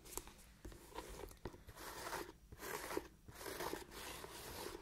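Long nails scratch a hollow, empty black leather Chelsea ankle boot, moving over both the leather and its elastic side panel. The result is quiet, crunchy, rasping scratches in uneven bursts, with a few sharp clicks and a bright textured hiss between them.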